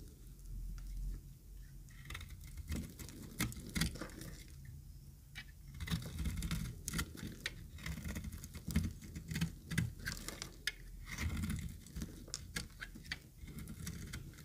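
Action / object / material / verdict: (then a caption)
scrape / bar of soap shaved with a blade / soap / none. A utility knife blade shaves the edge of a dry, yellow-green solid soap bar held in the hand. The result is a quick, irregular patter of short, dry scraping crunches with bright crackling clicks over a low, soft rumble.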